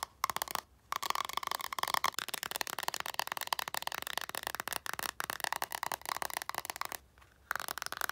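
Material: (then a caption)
Coated paper. A stack of coated paper tarot cards with a plaid back is held in one hand and tapped and scratched on the back with long nails. Quick, dry clicks and scratchy ticks run almost continuously, with brief pauses near the start and end.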